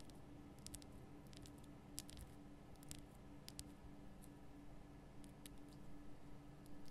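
Long painted nail tips tap and scratch across a large, solid, lit pink rock-salt lamp. The quiet, irregular series of short, crisp clicks and scrapes flicks briefly into the high range, over a steady low hum and background noise.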